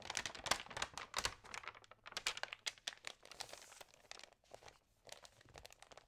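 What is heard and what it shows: Fingertips rub and turn the glossy pages of an Allerhande magazine, crinkling them. Dense, bright paper crackles and swishes come in quick bursts with almost no low end, louder at the start and thinning into softer rustles with brief pauses toward the end.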